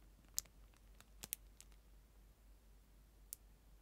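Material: Plastic.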